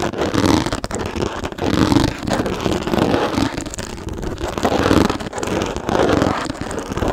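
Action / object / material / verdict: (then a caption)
scrape / hard plastic storage case with textured lid / plastic / none. Long nails scratch fast across the textured top of a small, hollow, hard plastic storage case with a teal lid, held in both hands. The result is a loud, continuous rasping scrape in quick, uneven bursts, centered in the low-mids with a hollow tone and little bright hiss. Each stroke dies away almost at once.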